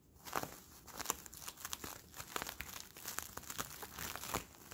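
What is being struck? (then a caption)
Thin sticky plastic bubble film. Fingers squeeze and crinkle an empty, palm-sized Bloonies plastic bubble made of hollow, clear, sticky plastic film, pulling its sticky surfaces apart. The result is a steady run of dry crinkling broken by sharp, bright crackles and quick tacky peels, with almost no low end.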